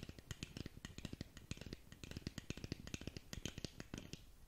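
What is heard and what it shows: Long nails tap rapidly across the surface of a long, narrow black cardboard lip gloss box held in front of the mic. The result is a quick, uneven stream of dry, clicky taps, each with a dull low thump and a bright edge that stops almost instantly.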